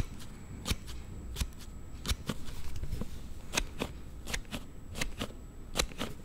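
A plastic sliding case on a Note7 phone is slid back and forth with the thumb, making 11 sharp, bright clicks over a low rumbling background. The clicks are short and dry, and the sliding sound they make is not normal for the case.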